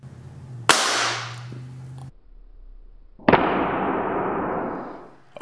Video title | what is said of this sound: DDV Test 6 - Thử độ bền Ipad Pro khi thả rơi | tôi nghe có tiếng nứt rồi đó